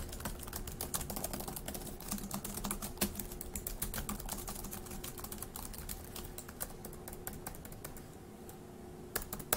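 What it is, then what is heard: Plastic laptop keyboard. Fast two-handed fingertip typing on a dark grey laptop keyboard with plastic keys produces a dense, irregular stream of short, dry clicks over a faint steady hum. The typing thins out slightly toward the end before a few sharper taps close the clip.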